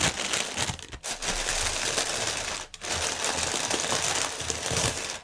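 Fingertips press and crinkle a strip of clear inflated plastic air pillow packaging resting on a table. A dense, bright, continuous crackling fills the clip, with two brief dips near the 1-second and 2.7-second marks.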